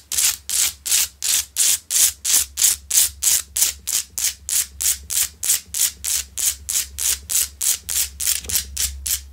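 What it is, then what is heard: Salt rock lamp being scratched. Long nails on both hands scratch the surface of a large, solid, rough pink Himalayan salt rock lamp that is lit. About 31 quick, bright, raspy scrapes repeat at a steady pace of roughly three per second, each hissy stroke stopping sharply before the next.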